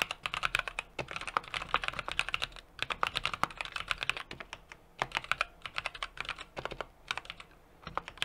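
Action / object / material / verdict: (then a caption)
tap / mechanical keyboard with aluminium case and plastic keycaps / plastic / none. A 60% mechanical keyboard with an aluminum case, brass plate and plastic keycaps is typed on steadily with the fingertips of both hands. Bright, crisp key clacks come in quick bursts separated by brief pauses. Each click is short and dry, centered around 1.2 kHz with little low-end body.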